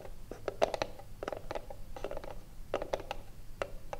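Long blue nails scratch and tap the front face of a small, hollow wooden cigarillo box. The result is a quick, irregular run of dry, clicky taps with a hollow midrange knock around 645 Hz, broken up by brief scratchy rasps. Each tap stops almost instantly, over a faint low background hum.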